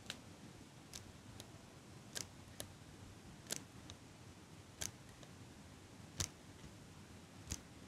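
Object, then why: Small metal eyelash curler. A small chrome metal eyelash curler is held close to the mic while long pink nails click its handles and tap its metal frame. Eleven short, bright clicks come at irregular intervals over a quiet, low hiss, each dying away almost instantly.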